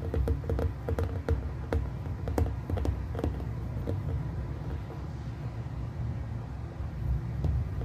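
Fingertips tap quickly on a hollow glass plasma sphere in the dark while both hands rest on and around it, producing sharp, keyboard-like clicks. The clicks sit over a steady low hum near 82 Hz that dominates the sound, and each tap fades within a fraction of a second.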